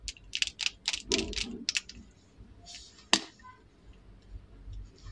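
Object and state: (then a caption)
Plastic lip liner pencil. Long decorated acrylic nails tap and scratch along a slim purple plastic lip liner pencil, small and solid, held in both hands. The result is a quick run of sharp, bright clicky taps with a short scraping rustle, then quieter soft scratching broken by one loud crisp tap.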